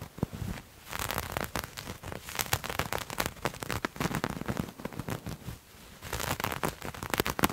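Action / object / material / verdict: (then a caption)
scrape / textured knit fabric / knit fabric / none. Fingertips and nails scratch and scrunch a grey textured knit fabric, making dense, crackly scratching with sharp rustling bursts across a broad range into the high end. The scratching comes in uneven flurries with brief quieter pauses, and grows louder toward the end.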